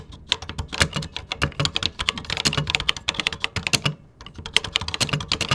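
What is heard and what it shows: Fingertips type rapidly on a vintage 1980s computer keyboard with cream plastic keycaps. The result is a fast run of sharp, bright plastic clicks with very short decay and a soft low thump under each stroke. Typing pauses briefly near the four-second mark before resuming.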